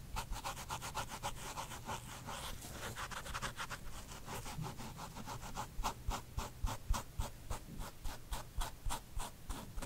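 Fingertips and nails scratch and rub the side of the smooth leather-like upper of a hollow, empty white low-top sneaker with white laces and a tan gum rubber sole, held up in one hand. A fast, steady run of dry, papery scratching strokes repeats at about three to four per second. The strokes turn sharper and more distinct in the second half, with a bright hiss on each pass over a low rumble.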